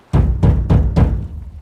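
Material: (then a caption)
Steel. Four bangs on the steel fuel tank of a 39-year-old Ford F150 that cranks but won't start give hollow, low, drum-like booms around 78 Hz with a short ring. The booming shows the tank is empty, so gas must be added before diagnosis continues.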